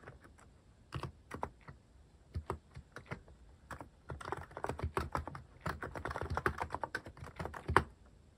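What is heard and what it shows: Fingertips type on a cream plastic-cased mechanical keyboard fitted with cat-themed plastic keycaps. Short, dry clacks with a soft low thump under each start out sparse and scattered. After about four seconds they pick up into quicker, denser runs of keystrokes.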